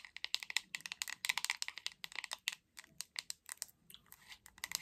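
Long acrylic nails tap rapidly and irregularly on the back of a hot pink hollow plastic paddle hairbrush. Each tap is a dry, bright click centered around 2 kHz with almost no ring or low end. The taps come in quick bursts with brief pauses between them.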